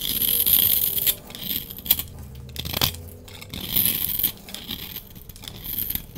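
A solid orange bar of soap, held in the hand, is shaved with a utility knife blade, and crumbs fall away. Bright, dry scraping and crumbly rasping come in bursts of strokes with short quieter gaps between them.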